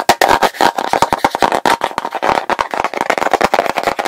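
A medium plastic petroleum jelly jar, full of pale jelly with a blue plastic lid, has its lid tapped and scratched quickly by fingertips and nails. The result is a rapid, busy stream of short, dry plastic clicks and scrapes with a hollow tone around 750 Hz, bright crisp edges and almost no low end.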